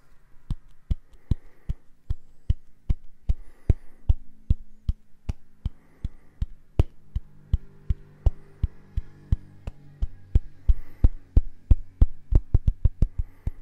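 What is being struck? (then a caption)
Silicone cleansing brush. A small round purple silicone facial cleansing brush is held close to the mic while fingertips and nails tap and scratch its face. Dozens of short, dry taps come at a steady pace that quickens toward the end, with soft scratching and a low hum underneath.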